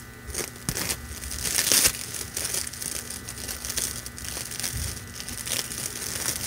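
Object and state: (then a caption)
Plastic deco mesh ribbon. A loose length of red metallic plastic deco mesh ribbon is held in both hands and crumpled, squeezed and rubbed with fingers and nails. It gives a steady, dense, bright crinkling and rustling with sharp crackles throughout, peaking in a louder crunching burst just before the two-second mark.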